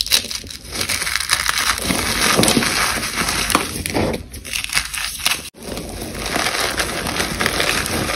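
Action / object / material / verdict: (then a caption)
scrape / dried cornstarch paste chunk / cornstarch / none. A solid, brittle chunk of dried white cornstarch paste is held in one hand while the fingers of the other hand squeeze and crush crumbles of the same material. It makes a steady stream of dense, bright crunching and crackling, with a brief pause a little past the midpoint before the crumbling resumes.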